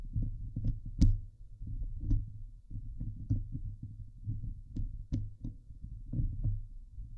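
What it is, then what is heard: Metal mesh microphone grille being scratched. Fingernails slowly scratch over the top and sides of a Blue Yeti microphone's hollow steel wire-mesh grille. The result is a deep, boomy rumbling scrape dominated by low tones, with occasional short, sharp clicks that flash up bright.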